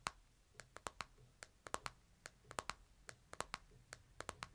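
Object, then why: Smartphone in a plastic case. Fingertips tap the screen and edges of a smartphone in a plastic case, held flat and then upright, making 21 short, dry clicks. Each tap has a bright, brittle tone centered around 1 kHz that dies away almost instantly over a faint low background hum.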